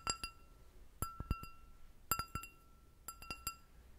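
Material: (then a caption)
Glass. An empty clear glass goblet with a short stem is tapped on its bowl with long nails. Four quick clusters of light clinks each produce a bright ping centered around 1.3 kHz with high, shimmering overtones. The pings fade quickly against a quiet, low background.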